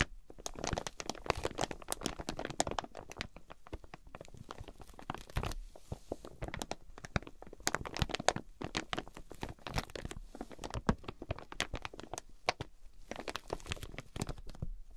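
Long nails tap and scratch across the crinkly clear plastic wrap of a flat, folded quilted fabric item with card tags. Dense, rapid clicks and crackling crinkles run throughout, sharp and brief with no ring, over a soft low rustle.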